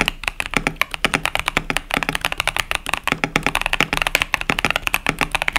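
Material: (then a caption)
Plastic. Two hands type with their fingertips on a 65% plastic mechanical keyboard with cherry-profile plastic keycaps and Boba U4T tactile switches, a KBD67 Lite. A steady run of about 37 short, sharp clacks sounds bright and clicky, each dying almost instantly over a faint low hum.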